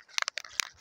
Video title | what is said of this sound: Pt 3 How to make a wildlife pond | you shake it it's got a little ball bearing inside